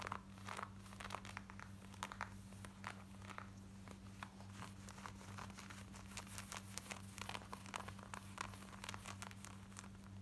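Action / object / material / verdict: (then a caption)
scrape / denim jeans fabric / denim / none. Long nails scratch fast on the front of worn black denim jeans near the fly, making a quiet run of dry, bright scrapes and crinkly rasps. A steady low hum sits underneath throughout.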